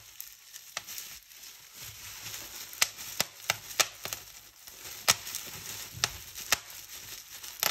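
A large clear polyethylene bubble wrap sheet with hollow air cells is held in both hands while long painted nails and fingertips pinch, pop and crinkle the bubbles. A steady bright crinkling rustle runs throughout, broken by a series of sharp, high snapping pops that cut off almost instantly.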